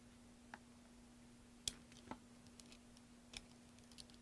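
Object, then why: Bar of soap cut with a metal blade. A metal blade carves and scrapes a solid, partly carved green soap bar held in one hand over soap shavings. About six short, sharp, bright crackling cuts sound at an irregular pace, each dying away almost instantly. A faint steady low hum runs underneath throughout.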